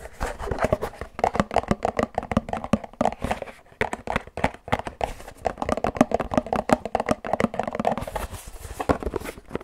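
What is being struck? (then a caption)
Paperboard drink carton. Fingertips and fingernails tap quickly on a hand-sized, hollow Pilkul drink carton made of printed paperboard with a character design. The result is a dense, rapid run of dry, hollow taps with a mid-range papery tone and almost no ring.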